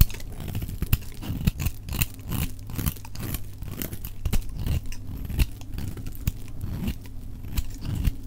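A utility knife blade carves crumbly chips off a solid, dry orange-yellow soap bar held in the hand, played at double speed. Rapid dry scraping and crunching cuts follow one another, with short sharp clicks over a low, muffled body.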